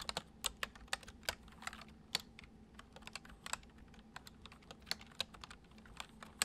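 Fingertips of both hands type quickly on a full-size white plastic computer keyboard with hollow keys resting on a wooden desk. The result is a rapid, uneven stream of short, bright, hollow clicks that stop almost instantly, over a faint steady low hum.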